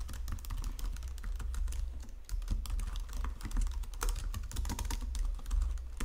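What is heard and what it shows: Both hands type with fingertips and long nails on a white plastic Logitech full-size keyboard resting on marble. A continuous stream of quick, bright plastic key taps and clicks runs throughout, over a steady low hum.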